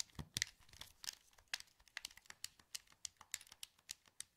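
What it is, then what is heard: Plastic game controller. Fingertips click the buttons and sticks of a hollow, translucent green plastic PS2 wireless controller held in both hands. About seventeen quiet, sharp, dry clicks come in an irregular series, bright and crisp with almost no low end and no ring after each one.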